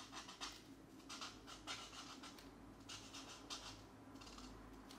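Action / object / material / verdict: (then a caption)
scrape / felt-tip marker on a paper coloring page / paper / none. A marker's felt tip rubs and scratches across a paper mandala page from a coloring book, lying flat while a hand holds it still. Repeated coloring strokes make soft, bright, papery scratching bursts over a faint, steady low hum.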